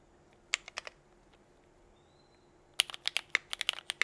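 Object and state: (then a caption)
Mechanical keyboard with plastic keycaps. Both hands type with their fingertips on a compact 60% mechanical keyboard with Cherry Vintage Black switches, GMK KA2017 white and pink ABS keycaps and a teal case, resting on a desk mat. A few sharp, bright plastic clacks come first, then a long quiet pause, then a rapid, uneven run of crisp keystrokes, about 14 in all, each dying away almost instantly.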